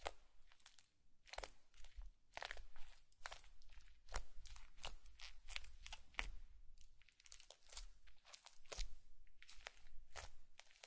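A bamboo fork is repeatedly poked and pressed into a flat blue slime patch with foam beads on a white plate. It makes a steady run of sharp, bright crunching and crackling pops over a quiet low rumble. Each crunch stops almost at once.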